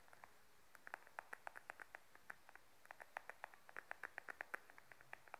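Long nails tap and scratch a small beige glossy patent faux leather wallet held upright. About three dozen quick, quiet clicks come in uneven bursts, each a dry tick pitched around 1.6 kHz that stops at once with no ring.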